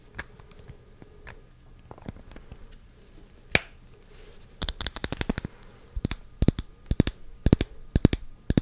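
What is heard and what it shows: A small pink glass perfume bottle with a white plastic cloud base is held and tapped and scratched on its glass and cap with long pink nails. Sparse, light clicks and soft scratching come first, then a loud sharp tap. A denser run of crisp, bright taps follows, with each click dying away almost instantly.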